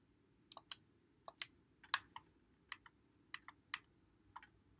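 A white Xbox One controller with a hollow plastic body is held in both hands while fingertips press and click its buttons and thumbsticks. Short, dry, bright plastic clicks come in irregular bursts, often in quick pairs, over a faint low hiss.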